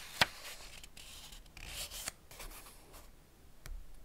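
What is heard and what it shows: Fingertips rub and slide across the paper pages of an open Ladybird hardback picture book, "Man and His Car," resting on one spread. Soft, bright papery rustling and scraping run throughout, with two short, crisp ticks standing out, one near the start and one midway.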